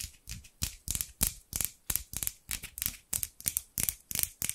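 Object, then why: Steel scissors. Large steel scissors with dark handles, held in both hands with long pink nails, have their blades repeatedly opened and closed in a scraping, sliding action. About 18 quick, bright metallic swishes and snips follow each other at an uneven pace, each with a soft low thump at the start and almost no ring after.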